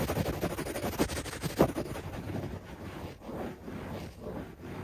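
Fingertips and nails scratch fast across a beige shag carpet on the floor, heard up close at floor level. Dense, rough rustling scrapes come in quick, uneven strokes, with a few sharper swipes standing out early on before the scratching settles into a steadier, softer rasp.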